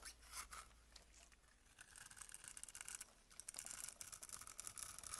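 A box-cutter blade scrapes small cubes off a solid amber glycerin bar soap held in the hand. The result is a quiet, bright, crackly scraping that runs in dense, uneven bursts and grows busier and louder toward the end.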